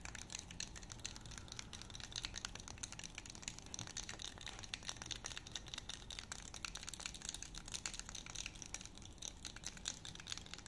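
A small, solid light-wood honey dipper with a grooved head and a thin handle is held in both hands while fingertips and nails tap and scratch its head and grooves. The result is a steady, quiet stream of rapid, crisp clicks and dry, bright scratching rasps that continues throughout.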